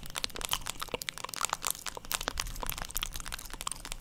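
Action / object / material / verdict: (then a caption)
tap / plastic paddle hairbrush / plastic / none. A black plastic paddle hairbrush is held close to the microphone in both hands while long, pointed acrylic nails tap and scratch its hollow plastic back. The result is a steady stream of quick, dry clicks and crackly scrapes with a bright, crisp edge and no ringing after each contact.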